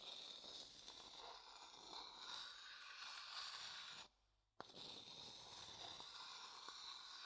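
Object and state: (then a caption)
Light wooden bowl. The inside of a medium, hollow, empty light wooden bowl, held upright, is scraped with a thin wooden stick. It makes a steady, bright, rasping scrape that stops for about half a second just after the four-second mark. The scraping then resumes with a sharp tick and continues to the end.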